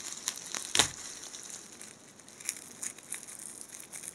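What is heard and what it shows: A hand-length blue tinsel garland of thin metallized plastic foil strands twisted on a wire core is squeezed, crumpled and rubbed between two hands in blue nitrile gloves, with loose cut tinsel strands lying on a white table. The result is a quiet, bright, crisp crinkling with almost no low end, made of scattered crackly bursts, the loudest one coming early in the clip.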